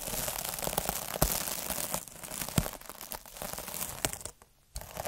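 A hand-held needle derma roller rolls and scratches across a palm-sized, puffy, iridescent plastic mesh scrub pad. Dense, bright crinkling and scratchy rasping is broken by sharp crackling clicks. It drops to a brief near-silence late in the clip, then the scratching resumes.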